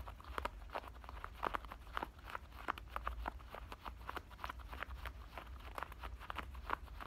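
Fingernails on both hands scratch the denim at the waistband of black denim shorts, making a quick run of short, dry scratching strokes centered in the midrange. The strokes come in rapid, uneven bursts over a steady low rumble.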